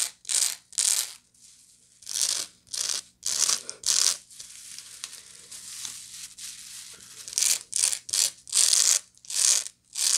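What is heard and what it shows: Long nails scratch the woven sides and base of a medium, hollow woven straw bag. Bright, hissy scratching bursts come in an irregular rhythm, with a quieter, continuous stretch of scratching in the middle before the louder strokes return.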